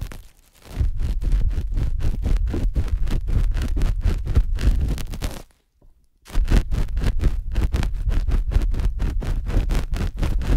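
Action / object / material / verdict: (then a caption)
scrape / silicone dummy ear with steel spatula / silicone / none. A thin stainless metal spatula is scraped and pressed inside the ear canal of a soft white silicone ear on a binaural microphone. It makes a rapid run of deep, muffled rubbing thumps, with almost all the energy low and nothing bright. There is a brief silent pause before the strokes resume at the same pace.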